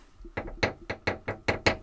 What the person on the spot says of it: Tapping on metal.